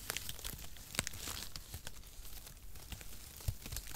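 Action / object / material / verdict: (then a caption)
scrape / thin cardboard packaging shreds / cardboard / none. A light, hollow bundle of thin zigzag-cut cardboard packaging shreds is held in both hands in front of a microphone while fingertips crumple and tear through the strands. A dense, steady crinkling and tearing rustle carries sharp, bright crackles and short, dry snaps that die away instantly, over a soft low rumble.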